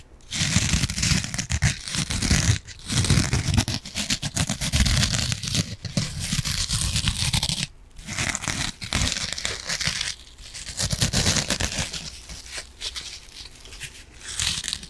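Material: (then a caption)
Foam. Long nails scratch the green scouring side of a yellow foam kitchen sponge. The result is dense, rough rasping and crinkling bursts, bright and hissy over a low rumble. They come in several long runs separated by brief pauses and fade toward the end.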